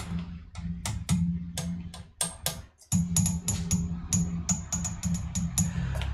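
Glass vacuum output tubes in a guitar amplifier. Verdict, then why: Microphonic. Light taps on the glass vacuum output tubes of a Mesa F50 guitar amplifier come through the speaker as a rapid series of about twenty big, booming thumps with bright clicking attacks over a steady low hum. The tubes are microphonic and need replacing.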